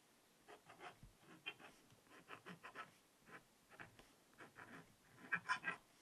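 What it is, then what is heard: Scratch-art paper being scratched with a stylus. A wooden stylus scratches writing into the black coated paper of a small spiral-bound black scratch-art notepad held flat by one long-nailed hand. Quiet, short, dry scratching strokes come in a loose series of separate bursts. The sound stays mostly in the mid-to-high range and grows slightly louder and brighter near the end.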